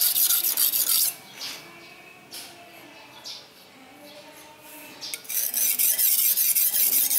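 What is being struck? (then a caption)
Steel knife blade on a whetstone. A steel knife blade, held at an angle with fingers pressing on it, is stroked along a solid dark rectangular whetstone resting on a tiled floor. Quick, bright, rasping rubs of steel on stone fill the first second, fade to softer scrapes through the middle, and return at full strength from about five seconds to the end.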